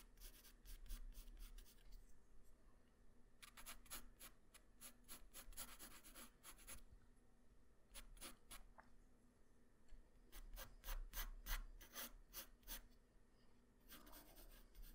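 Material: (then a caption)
Paper. A graphite pencil tip draws fast hair strokes across a flat white paper sheet, making quick, bright, dry scratches. The strokes come in rapid bursts separated by short pauses, over a steady low hum.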